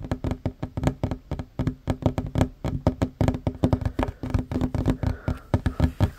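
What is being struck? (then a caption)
Wooden tabletop. Hands fast-tap with short fingernails on a flat, solid wooden tabletop, producing about 35 quick, dull knocks in a rapid, uneven rhythm over six seconds. Each tap is short and low-heavy, with a faint wooden tone around 258 Hz and almost no bright edge, and it dies away almost instantly.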